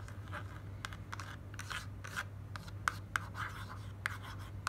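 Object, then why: Paperboard carton. Long black nails tap and scratch the front of a slim white printed paperboard box for moisturising cream, held in hand. Quiet, irregular scratchy rubbing is broken by sharp, dry clicks centred around 1.5 kHz, over a steady low hum.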